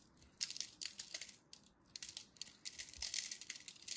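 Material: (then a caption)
Soap. A solid purple-and-white striped dry soap bar, held in fingers with long nails, is scored in a grid with a craft blade that flakes chips off. Quiet, dry, bright scratching and crisp crackling come in quick bursts, with almost nothing in the low end.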